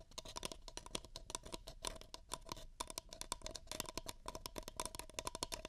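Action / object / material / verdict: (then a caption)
tap / paper cup / paper / none. Fingertips rapidly tap and grip the walls of two empty, hollow paper cups held open-end toward a pair of microphone ears. The result is a quick, steady patter of dry, bright taps with a hollow tone near 1 kHz and almost no ring between hits.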